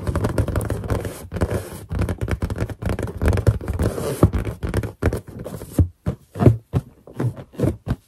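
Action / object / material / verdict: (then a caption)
scrape / inflated latex balloon / latex / none. Long black and green painted nails tap and scratch across a large, hollow, air-filled white latex balloon with a drawn animal face. Dense, low, hollow scraping and rubbing fill the first half. It then breaks into separate muffled taps with short gaps between them.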